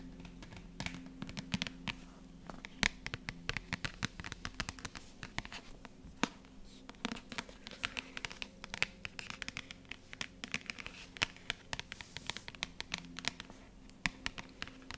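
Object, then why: Paperback book with card cover. Long nails scratch and tap the matte card cover of a dark paperback, "Das grosse Buch vom Schlaf," a solid paper book held upright in both hands. Many quick, dry, bright taps and scratchy strokes follow one another over a steady low hum.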